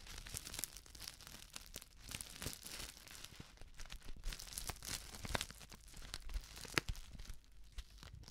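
A flat, sealed plastic instant soup sachet filled with dry contents is crinkled, scratched and dangled by its edge with long nails. Dense, bright crinkling and scratching runs throughout, broken by sharp crackly snaps, with a soft low rustle underneath.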